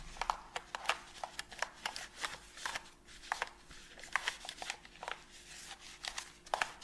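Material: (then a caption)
Plastic. A white and black hard plastic PS5 controller, hollow and hand-sized, is held in a gloved hand while gloved fingers rub a cotton pad over its front, thumbsticks and buttons. The result is a steady run of quick, dry scratching and brushing strokes with many short, bright ticks and clicks that die away almost instantly. A faint steady hum sits underneath throughout.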